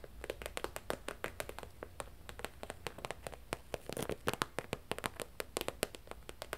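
A medium, flat holographic plastic/vinyl zip travel pouch, held up, is tapped and scratched with long nails. A rapid, irregular series of short, dry, crisp clicks and taps plays over a low steady hum, with bright ticking peaks and very little ring after each hit.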